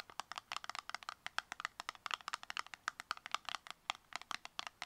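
Long nails tap fast on the faces and edges of a small, tall, closed brown cardboard cosmetic box, producing about thirty quick, dry clicks over five seconds. Each tap is crisp and papery, centred in the midrange with a bright upper edge. There is no low end, and each tap stops instantly without ringing.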